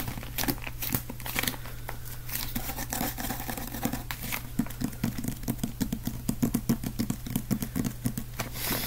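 Fingertips tap and scratch the cover and spine of a solid, small dark green hardcover book held close in the hands. Quick, dry taps and crinkly scratching come in an uneven stream and grow denser and sharper in the second half, over a steady low hum.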